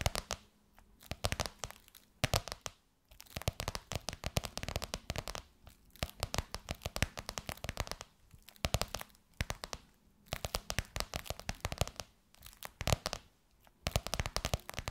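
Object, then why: Embossed faux leather pillowcase over a soft pillow. Long white nails tap and scratch across a gold crocodile-embossed faux leather pillowcase over a soft pillow. The result is dense bursts of crisp, crinkly tapping and scratching, broken by short pauses between flurries.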